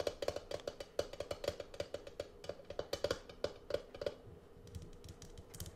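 A medium Jolly Rancher Aromabeads jar, which looks plastic, has a lid and is filled with beads, is held in the hand and tapped with long acrylic nails close to the mic. The result is a quick run of crisp, dry clicks with a hollow tone around 580 Hz that stops almost instantly. The taps grow softer and sparser toward the end.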